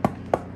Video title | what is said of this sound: The2Woodies - SOURDOUGH BREAD FOR KIDS | if you knock on it and it's hollow that means it's a good one